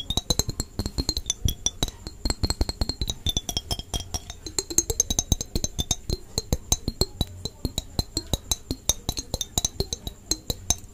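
Long painted fingernails tap and scratch a small, mostly empty clear glass jar with an orange-red plastic screw lid, held close to the microphone. The result is a rapid, steady stream of sharp, crisp clicks and taps with a soft low thump beneath them, over a faint bright ringing tone that lasts throughout.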